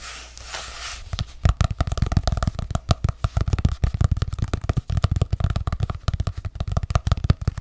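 Long acrylic nails tap and scratch the decorative printed cover of a small ornate hardcover journal held in one hand close to the mic. A brief soft scratching rustle opens the clip, then gives way to a fast, irregular stream of dull, low, thumpy taps with almost no ring.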